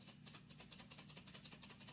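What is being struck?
Dried gourd.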